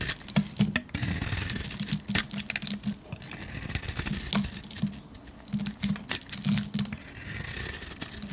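A metal blade carves a painted, solid yellow soap bar held in the hand, slicing off curls and flakes. Quick, dry scraping strokes and crisp bright cuts repeat irregularly over a low, soft rasp.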